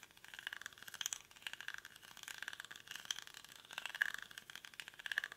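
Fingernails scratch quickly across the weave of a hollow, cylindrical woven rattan or reed basket held in both hands. It makes a dense, dry, crackling rattle of rapid scrapes, bright and papery around 1.7 kHz with no low end. The texture swells and eases in quiet bursts throughout.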